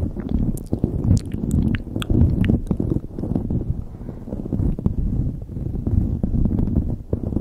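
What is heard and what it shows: Long nails scratch and grip a light blue knit beanie pulled over a microphone. The result is a dense, muffled low rumble of rubbing and crackling fabric, with short brighter scratchy ticks throughout.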